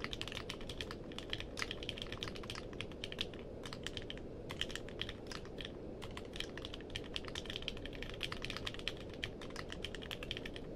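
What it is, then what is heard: Mechanical keyboard with plastic keycaps. Fingertips type steadily on a compact mechanical keyboard with a purple case and plastic keycaps, producing a fast stream of short, bright clicks with a tone around 3.2 kHz. A steady low hiss sits beneath the keystrokes throughout.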